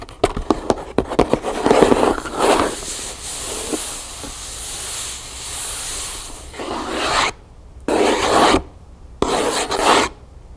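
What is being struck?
Cardboard box.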